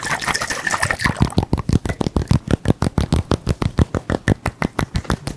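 A round glass bottle partly filled with blue-green liquid is shaken and tilted by hand so the liquid sloshes, with some fingertip tapping on the glass. A brief wash of sloshing gives way to a rapid, steady run of short, low, muffled knocks that fill the rest of the clip.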